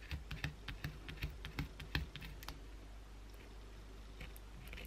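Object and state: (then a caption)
Bar of soap scratched with long nails. Long blue acrylic nails scratch the edge and side of a solid white bar of soap held in the hand. Quick, uneven bursts of crisp, bright scratching clicks ride over a low steady hum, bunched in the first half of the clip before easing into quieter, sparser scrapes near the end.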